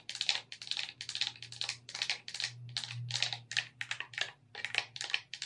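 Long red nails tap and click on the buttons, joysticks and D-pad of a hollow black plastic wireless gamepad held in both hands. The result is rapid bursts of short, bright, crisp plastic clicks and ticks that stop almost instantly, over a faint low hum.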